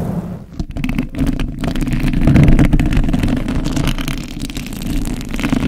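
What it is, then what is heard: Metal microphone grille being rubbed and scratched. Fingertips and thumbs rub a hollow metal mesh microphone grille while long acrylic nails scratch across it. The result is a continuous, boomy low rumble of muffled brushing and friction with a few faint scratchy flickers, swelling and easing in loudness without clear separate hits.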